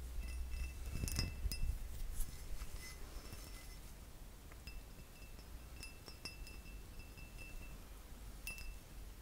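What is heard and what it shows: A faceted cut crystal glass vase, hollow and empty, is held close and tapped with fingertips and nails. Light clinking taps give thin, bright high rings that fade quickly over a steady low rumble.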